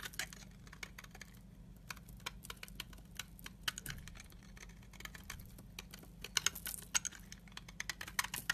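A utility knife blade scrapes powdery shavings from the edge of a solid, translucent amber soap bar held in the hand. The scraping comes as a rapid run of crisp, bright, clicking ticks over a steady low hum, growing denser and louder toward the end.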